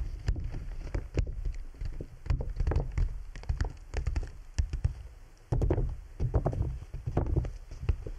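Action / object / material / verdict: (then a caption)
tap / PVC plastic dome umbrella canopy / PVC plastic / none. Fingertips of both hands tap across the thin, hollow canopy of a large clear PVC bubble umbrella, a transparent plastic dome wet with droplets, including near its tip. The result is a dense, uneven run of soft, dull, low thumps with very short decay and faint brighter ticks over a steady low rumble, growing slightly louder partway through.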